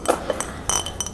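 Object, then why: Glass mason jar. A light blue glass mason jar set on a frame is tapped, giving clear, glassy clinks with a bright ring that dies away quickly. The taps come in two small groups, the later ones brighter and ringing with high overtones.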